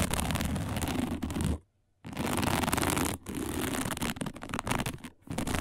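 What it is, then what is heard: Woven plastic placemat. Long nails scratch fast and hard across a round, flat, dark woven plastic placemat, making dense, rough rasping with a low rumble underneath and a bright hiss on top. The scratching stops briefly just before the two-second mark, then resumes in quick bursts with short breaks.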